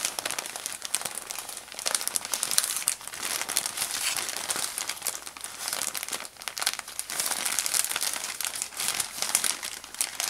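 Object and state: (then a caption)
Plastic bag of cotton balls being crinkled. A thin plastic bag full of white cotton balls is turned and squeezed in the hand while fingertips rub and crinkle the plastic surface. The result is a steady stream of dense, bright crinkling and crackling with almost no low end, swelling and easing as the grip shifts.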